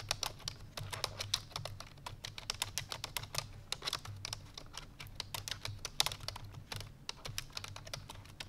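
Fingertips with long painted nails rapidly press the keys of a full-size black plastic computer keyboard resting on a white fur rug. The result is a fast, steady stream of crisp, bright typing taps, each clicking sharply and dying out almost instantly, over a faint constant low hum.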